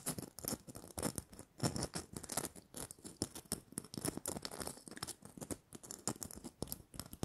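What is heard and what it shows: Long nails scratch and tap the glittery surface of a small, hollow red glitter-coated plastic Christmas bauble held near the mic. The result is a quiet, dense run of dry, crackly scratches and quick, bright ticks that stop almost instantly, with a slight hollow plastic body underneath.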